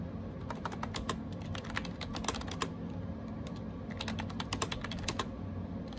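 A gray AJAZZ 308i wireless Bluetooth keyboard with round plastic keycaps is typed on with fingertips in rapid taps. Short, sharp clicks, about 28 of them, pause briefly near the middle before continuing. A steady low hum runs underneath.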